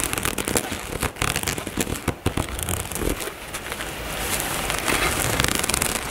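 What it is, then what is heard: Nylon fabric cosmetic bag. Long nails tap and scratch the fabric near the zipper of a dark nylon zippered cosmetic bag resting on a table. Sharp, crackly taps come first, then give way to a steadier, brighter scratching rustle.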